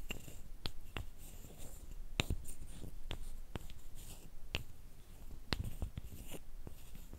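Two thin, flat, light, solid wooden sticks, each about hand length, are rubbed together, giving a dry, continuous scraping texture. Short, sharp clicks and taps break through at intervals. Each click dies away almost instantly, and most of the energy sits in a low, soft rumble beneath faint bright hiss.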